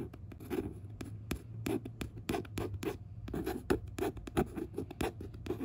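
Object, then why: Glossy paper book cover. Quick dry scratching strokes of a fingertip over a glossy paperback cover, with a faint low hum underneath.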